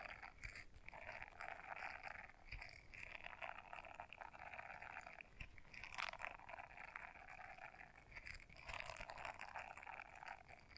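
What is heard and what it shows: Long nails scratch the bristles of a small blue silicone scrubber brush folded in half, making a quiet, dense crackling scrape. The rubbery rasp stays mostly in the midrange with some bright edges, coming in steady bursts with short pauses.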